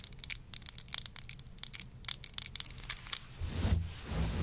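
Long nails rapidly scratch and pluck through the fibers of a grey long-pile synthetic faux fur rug, making a quick run of crisp, bright, tearing scrapes over a low, rough rustle. Near the end the scratching turns into a louder, denser rubbing wash with more low rumble.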